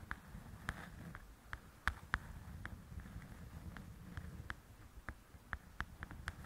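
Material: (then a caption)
Glossy paper. Long nails tap and scratch the glossy cover of a large, flat paperback coloring book. Sixteen short, crisp taps ring out at an irregular, fairly quick pace over a soft, low scratching rustle, with each tap dying away almost instantly.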